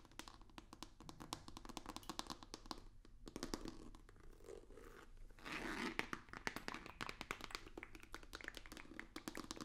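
Fingertips and nails tap rapidly on a long, rigid, hollow white cardboard box with a black stripe. The result is a quiet, dense stream of short, dry, bright clicks with a papery crunch and scratch, and a louder scraping burst partway through over a faint low hum.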